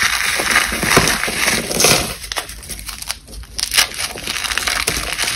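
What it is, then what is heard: Dried cornstarch paste, dry and brittle. Fingers with long painted nails squeeze and crush large, brittle, cracked white blocks of dried cornstarch paste inside a black bag. Bright, dry crunches and crackles come in an irregular run and break the chunks into powdery crumbles.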